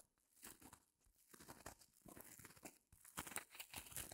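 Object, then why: Open-cell foam block. Long glossy nails scratch and press the surface of a small white rectangular block of solid open-cell reticulated foam, held in both hands over faux fur. The result is a quiet, close run of dry, crinkly scratching and crackling bursts with a bright, airy hiss and very little low end. The strokes rise and fall in uneven waves, with a brief pause near the three-second mark.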